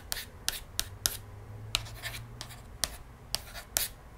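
Long nails trace and scratch along the printed page of a cardboard board book lying open on a table, its pages thick glossy paperboard. Nine sharp, bright ticks cut through soft, hissy scraping strokes, each tick stopping almost instantly.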